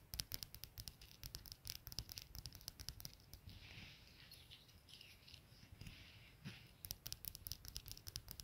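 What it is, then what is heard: Brass padlock. Long nails and fingertips tap and scratch the body of a small solid brass padlock with a steel shackle, lying on a plaid wool blanket. Quick, sharp, bright clicks with a ringing tone come in rapid bursts at the start and end. In the middle they give way to a softer, hissing scratching.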